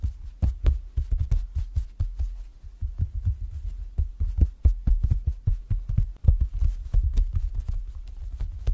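Fingertips and fingernails tap and pat the clear PVC front cover of an A6-size zippered planner binder, with a printed insert beneath and a red zipper edge, lying flat on a bed sheet. It makes a rapid, uneven run of soft, dull, low-pitched thumps that die away almost instantly, with no bright click or ring.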